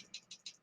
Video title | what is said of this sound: DIY COIL BUILD & RDA | barely rattles you got to shake it hard